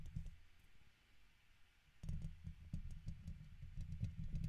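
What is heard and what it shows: A red plastic guitar pick, held between the fingers, scratches and taps the hollow domed steel wire-mesh grille of a silver condenser microphone. The sound is a deep, muffled rumble of scraping with short clicky taps. It stays quiet for the first two seconds, then turns louder and denser, with faint bright ticks on top.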